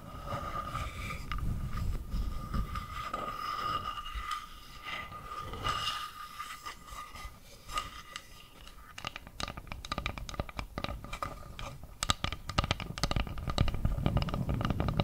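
Long nails scrape and scratch along the grain of a round, flat, solid bamboo board. A steady rasping whine with a tone near 1.2 kHz runs through the first half, then gives way to many quick, dry scratching clicks that grow denser and louder toward the end.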